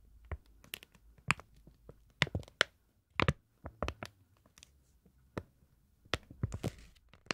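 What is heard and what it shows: Long nails tap and scratch a thin printed paper card that is flexed slightly. The result is an irregular series of sharp, dry clicks with bright tops and a soft low body. Brief scratchy rustles sit between the taps, and there is no ringing.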